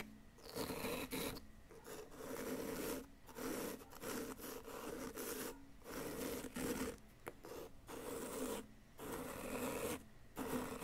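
A flat wooden chisel tool scrapes and rasps a solid yellow-green plaster dig-kit block, wearing it down into powder. Repeated gritty, rasping strokes come in bursts separated by brief pauses, with a steady mid-low scratchy tone and little high-end hiss.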